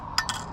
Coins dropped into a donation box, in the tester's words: it sounds empty. And not much in there.